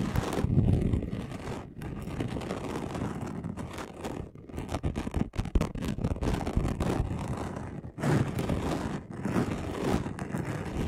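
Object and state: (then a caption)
Chunky glitter sheet being scratched. A flat gold and red chunky glitter sheet, about A4 size, lies on a dark cloth while the short nails and fingertips of both hands scratch fast across its coarse surface. The sound is a dense, rough, low-heavy scratching with rapid gritty strokes. It runs almost continuously, with brief dips near 1.7 and 8 seconds.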